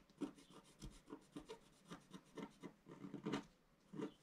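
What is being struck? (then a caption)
Wax-coated scratch-art paper scratched with a wooden stylus. A pointed wooden stylus, held in the fingers, scratches a flat, solid, black-coated scratch-art sheet over rainbow foil, about A4 size, lying on a table. It makes a quiet series of short, dry, raspy scraping strokes with a soft low-mid body. Each stroke dies away almost at once.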